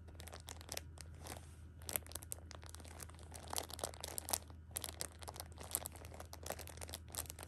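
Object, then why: Thin plastic film wrap around pocket tissue packs. Long pink-painted nails and fingertips press, scratch and crinkle the thin plastic film wrap of a hand-sized Shopkins six-pack of pocket tissues, full of soft tissue packs. The result is a dense, continuous stream of bright, sharp crackles and crinkles with quick, dry transients, over a steady low hum.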